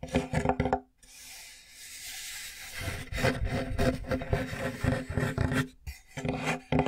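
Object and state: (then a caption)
Plywood board scratched. Fingernails scratch and rub across the surface of a large, flat, light plywood board with visible knots, held upright close in front of the mic. Quick, dry scraping strokes come in uneven bursts, with a softer, breathy brushing stretch near the start and brief pauses between passes.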